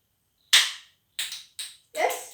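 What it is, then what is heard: Two stones struck together in air. Two stones are struck together in open air, producing four sharp, bright clacks. Each clack fades quickly, with nothing in the low range. The strikes are clearly heard through the air.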